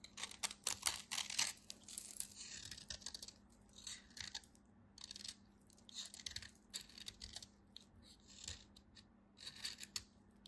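A utility knife cuts into a solid white bar of soap, and pieces break off. Quiet, crisp crunching and scraping bursts come in uneven clusters, bright and hissy with almost no low end. A faint steady hum runs underneath.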